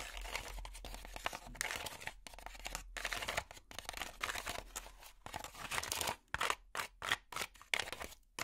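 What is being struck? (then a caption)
Honeycomb cardboard packaging insert. Plastic finger picks scratch a light, hollow, honeycomb-textured cardboard packaging insert, making a dense, bright, papery rasping with a crinkly, tearing quality. The scratching runs almost continuously for about six seconds, then breaks into short bursts separated by brief silences.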